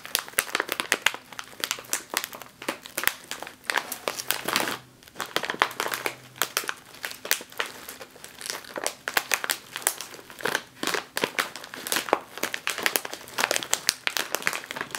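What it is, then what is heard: Crinkled plastic chip bag. Both hands with long green nails press and squeeze a sealed, full, puffy medium foil-lined plastic bag of jalapeño potato chips lying on a wooden table. Dense, bright crinkling and crackling comes in rapid bursts with no low end, with a brief lull near the five-second mark before the squeezing resumes.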